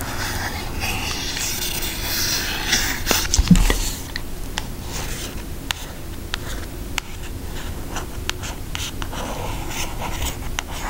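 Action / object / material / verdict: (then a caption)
tap / cardboard eyeshadow palette / cardboard / none. Long acrylic nails tap a flat, brown, Hershey-themed cardboard eyeshadow palette with a thin, hollow case held in the hands. Light, dry, irregular clicks and brief scratchy rubs sit over a steady soft hiss. A louder cluster of taps comes around the middle, and each tap fades almost at once.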